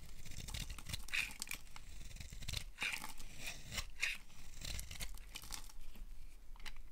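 A solid, oval, dark green bar of dry soap held in the palm is scraped and carved with a utility knife blade, sending green shavings falling. Each stroke makes a dry, crisp, crunchy scraping and tearing sound with bright crackly highs around 2.5 kHz. The strokes follow one another in a steady, continuous run.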